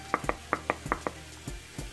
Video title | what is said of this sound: youtube how to make tomato paste how to make paste-how to make tomato paste at home | when you press this you can hear the sound right you can get it hollow sound